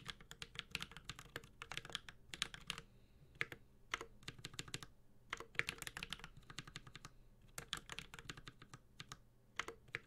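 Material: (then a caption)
Aluminum, plastic. A Space65 Cybervoyager 65% mechanical keyboard with an aluminum case, ABS keycaps and Holy Panda switches is typed on continuously with the fingertips of both hands. Rapid, bright, sharp keystrokes die away almost instantly, arriving in quick bursts with short pauses between them over a faint low hum.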